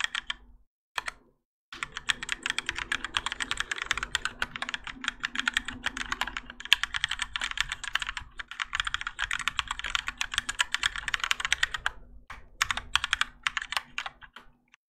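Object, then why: Mechanical keyboard with plastic keycaps. Both hands type continuously with their fingertips on a Keychron K4 compact mechanical keyboard with Gateron Yellow switches and grey and orange ABS plastic keycaps, set in a plastic and metal case and resting on a desk mat. A dense stream of short, bright clacks runs for about fifteen seconds, broken only by a brief pause near the start, over a faint steady low hum.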